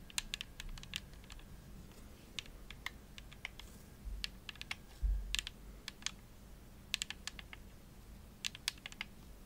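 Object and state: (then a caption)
Plastic game controller. Long nails tap the shell of a hollow, purple glossy plastic Xbox controller held up in the air, giving an uneven series of sharp, dry clicks. The taps are bright and brittle, centred around 2.7 kHz, and die away instantly over a steady low background rumble.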